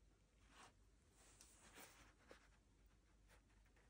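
Fingers in fingerless gloves rub and scratch along the brim and crown of a black hand-made Maz London DH wool felt top hat, hollow and empty with a grosgrain band, while turning it. The result is very quiet, soft, airy scratching and brushing in short bright swells, with one brief sharper tick near the end.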